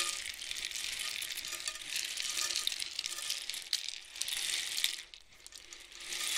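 A long, hollow, painted cardboard rainstick with loose filling is tilted back and forth with both hands near the microphone. It gives a steady, dense, bright patter of tiny clicks like falling rain, with almost no low end. The rush thins out briefly about five seconds in before swelling again as the tube turns.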